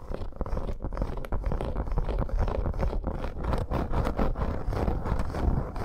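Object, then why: Embossed faux leather bracer. Long acrylic nails on both hands scratch rapidly across a red snake-embossed faux leather bracer. The result is a dense, continuous run of rough, scraping scratches that stays low and muffled, with almost no bright top end.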